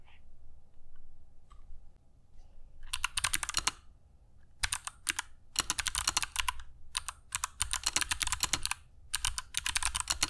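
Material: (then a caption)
Plastic. Fingertips of both hands type continuously on a compact black mechanical keyboard with dark PBT plastic keycaps and Kailh Box Jade switches, resting on a cork desk mat. After a quiet opening, sharp, bright clicks come in fast runs separated by short pauses, each keystroke snapping off instantly with almost no ring.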